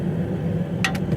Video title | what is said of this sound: Did I Do That? | this is a solid piece when you hit it it's got a tone